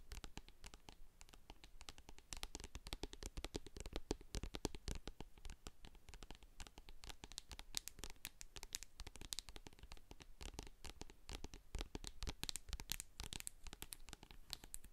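A medium hand-held plastic jar of hair co-wash with a silver metal lid, full of white cream, is tapped and scratched on its sides and label by long acrylic nails. A dense, continuous stream of quick, dry clicks and scratchy rasps fills the clip, each tap dying almost instantly. The sound is quiet, with a heavy low thump underneath and bright, crisp edges on top.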